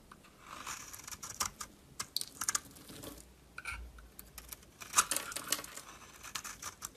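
A solid green bar of soap is held in the hand and shaved with a metal utility knife blade. Quiet, bright scraping and crisp shaving strokes come in short bursts, some clicking and crackling, with a sharper scrape near the middle.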